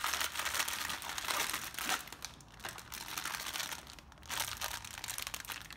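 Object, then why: Clear plastic zip-lock bag. A small, hollow, transparent plastic zip-lock bag holding several elastic sleeve stays with gold, silver and black metal clips is held in both hands in black nitrile gloves and squeezed and rubbed by the fingertips. The plastic gives a dense, bright, continuous crinkling with almost no low end, easing off briefly around the middle before picking up again toward the end.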